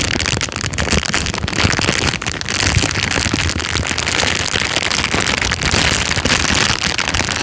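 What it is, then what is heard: Clear plastic bag. An empty, thin, clear transparent plastic bag is crinkled and squeezed with the fingertips and thumb. It makes a steady, dense crackling rustle that is bright and hissy, with a low rumble underneath. The sound keeps going without clear breaks for the whole clip.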